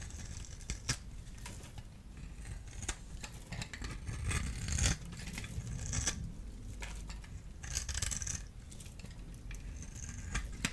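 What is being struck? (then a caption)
Bar of soap scored with a small blade. A solid blue-and-white striped bar of dry soap, held in the hand, is scored and shaved across its surface with a small metal blade tool. Crisp scraping strokes with bright, hissing bursts and sharp, quickly fading clicks sit over a steady low rumble.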